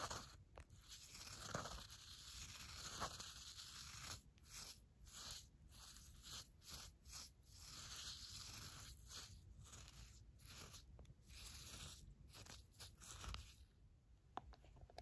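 A red pen stirs and scrapes through damp, used brewed coffee grounds in a paper filter. It makes a steady, bright, crunchy rustle with soft gritty scrapes and brief dips between strokes.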